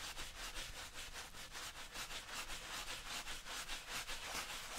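A hand-held bristle brush scrubs back and forth over a tan suede/nubuck leather tactical boot that is worn on the foot and wet with cleaner. Steady, rhythmic scratchy strokes come at about two to three per second, each a bright, hissy rasp with a faint low rumble underneath.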